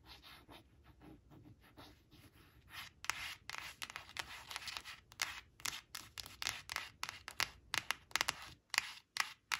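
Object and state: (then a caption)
Paper flash card being scratched. Long acrylic nails trace and scratch the outlines of printed cartoon mice on a thin coated paper flash card lying flat on cloth. Soft, steady tracing in the first few seconds gives way to a quick run of sharper, bright, dry scratching strokes that stop almost instantly, with hardly any low end.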